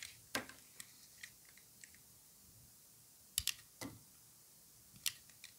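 A solid white bar of dry soap, held in orange-gloved hands, is sliced and shaved with a utility knife blade. The cuts make a series of short, crisp, bright clicks and scrapes that fade almost instantly, spaced apart over quiet pauses, with almost no low end. By the end the bar has broken into pieces.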